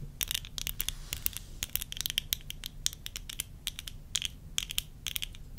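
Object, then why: Plastic eyeglass frame and lens. Long fingernails on one hand tap and scratch the side of the rim and the lens of worn tortoiseshell plastic eyeglasses. The result is a rapid run of sharp, dry clicks with bright, high scratchy edges and almost no ring, over a faint low hum.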